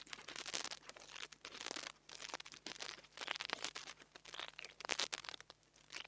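The metal tip of a nail tool taps and scratches the metal grille of a small black plastic mini lavalier microphone. Close, bright crackly scraping and crunchy tapping come in quick bursts, with a faint steady low hum underneath.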